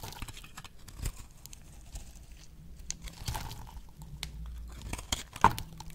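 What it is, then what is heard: Dry bar soap being sliced. A box-cutter blade slices thin pieces off a solid oval pink dry soap bar held on the palm. Quiet, dry crunching and crinkly scraping run throughout, with a few sharper crisp snaps as the blade cuts through, the loudest near the end.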